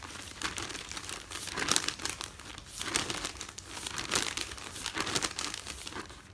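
Fingertips and nails fold and crumple the top sheets of a folded newspaper stack resting on a bed. Continuous bright, papery crinkling comes in swelling waves with little low end, then fades at the close.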